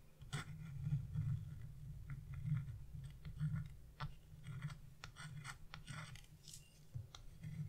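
A narrow metal chisel scrapes the black wax coating off a scratch-art paper sheet around a bird's wing, lifting visible flakes. Quiet, irregular scratching strokes sit over a steady low hum, with brief bright scraping bursts scattered throughout.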